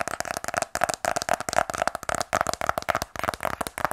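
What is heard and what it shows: A closed, small black rigid cardboard iPhone 12 Pro box, held in both hands, is tapped with fingernails. The taps come in rapid clusters, making dry, clicky sounds with a hollow mid-pitched tone, little bass, and almost no ring after each hit.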